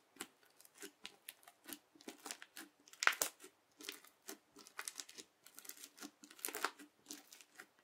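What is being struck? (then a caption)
Slime filled with plastic beads, pressed with a plastic knife edge. The edge of a yellow plastic knife, pressed down repeatedly under a fingertip into flat teal bead slime, crunches the beads. The result is a steady run of short, dry, crackling crunches with a bright, crisp texture, no low end and almost no ring after each press.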